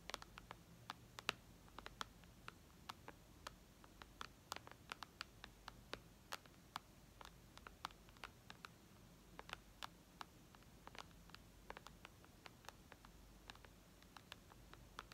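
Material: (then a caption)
Glass. Long red nails tap on the glass screen of a white iPad lying flat, making dozens of quiet, sharp, bright clicks in an irregular rhythm. Each tap dies away almost instantly over a faint low background hum.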